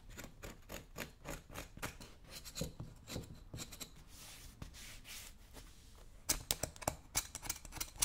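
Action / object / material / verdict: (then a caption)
scrape / worn leather work boot scraped with a metal tool / leather / none. A metal scraping tool is rubbed and scratched across the toe and upper of a worn brown leather work boot held in the fingers, making about twenty short, bright, dry scraping strokes. Around the middle the strokes soften into a smoother, hissy rub, then return sharper and louder near the end.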